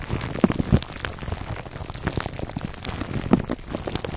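Fingertips scratch the crinkly clear plastic film wrapped around a foam microphone cover, producing a dense, muffled crackle weighted toward the low end. Soft rustles and small pops run throughout, with a few louder snaps standing out near the start and end.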